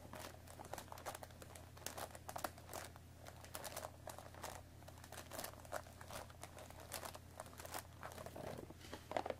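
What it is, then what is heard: Cardboard tea box. Long nails scratch and pick at the top flap of a hollow cardboard Earl Grey tea bag box, close up. The sound is a quiet, steady run of dry crinkling and scratchy ticks over a low constant hum.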